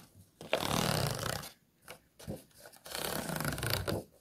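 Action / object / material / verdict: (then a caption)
scrape / clear plastic food container with ridged walls / plastic / none. Fingernails scratch along the ridged walls of an empty, hollow, disposable clear plastic food container. Long, raspy scratching strokes with a bright hiss and a low, hollow rumble alternate with a few shorter, quieter scrapes and brief pauses.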